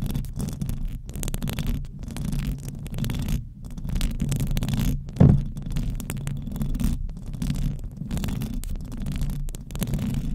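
Very long decorated acrylic nails on both hands scratch and rub across the rounded, hollow metal mesh grille of a large silver USB condenser microphone. The result is a continuous, dense rumbling scratch concentrated in the low end with a faint brighter hiss, briefly broken by short quiet gaps. One sharper, louder knock lands just past the five-second mark.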